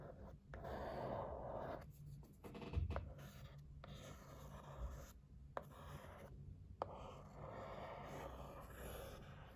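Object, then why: Cardboard box. A thin wooden stick scratches and traces across a held, white printed cardboard gift box, making dry, papery scratching strokes in bursts separated by short pauses. Two sharp ticks stand out near the end over a faint low rumble.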